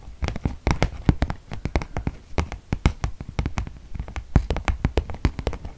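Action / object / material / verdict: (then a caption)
tap / paper gift bag / paper / none. Fingertips and nails tap on the flat side of a medium white glossy paper gift bag with rope handles and a teal Batiste logo, apparently empty and held up in one hand. A quick, uneven run of short, dry, papery taps gives dull low thumps with faint crisp clicks, each dying away at once.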